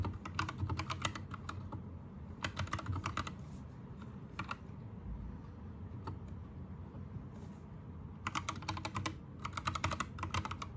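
Fingertips of both hands type on an Anne Pro 2 60% mechanical keyboard with plastic keycaps, Gateron red switches and a teal backlight. Quick bursts of bright, clacky keystrokes come in clusters, with isolated single taps between them. A steady low rumble continues underneath throughout.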